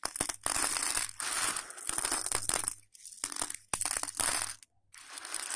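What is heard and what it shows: Fingers scoop, rub and crunch handfuls of dry hollow elbow macaroni spread on a patterned plate. Dense bursts of bright, dry crackling and rattling clatter pour out in waves, separated by brief near-silent pauses.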